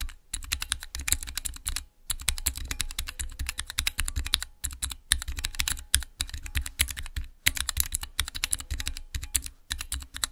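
Fingertips type on the transparent keycaps of a small clear acrylic Cherry MX mechanical keyboard switch tester. The result is bursts of rapid, crisp clacks, each with a bright click over a low thump, broken by brief pauses. Every keystroke dies away almost instantly.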